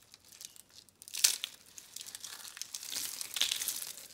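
Dry, rolled, palm-sized soap curl rosettes in blue, green and tan are squeezed and crushed into brittle flakes with both hands. Bright, crisp crinkling and crunching starts faintly, snaps sharply a little after one second, then continues as dense high-pitched crackling that swells again near the end. No low end is heard.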